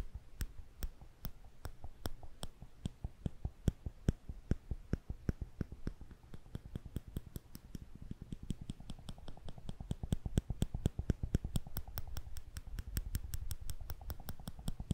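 Thin, slender steel tweezers are held upright between fingertips between two microphones, their arms squeezed together and released so they click against each other. A steady stream of short, sharp metallic clicks rings bright and dies almost instantly over a soft low rumble, the clicking growing faster and denser in the second half.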